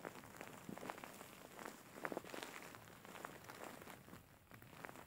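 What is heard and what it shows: Fingers and nails scratch and rub the fur of a large, soft, grey faux fur pillow with soft filling. The result is a quiet, continuous scratchy rustle made of many short, brushing strokes that carry into the high range.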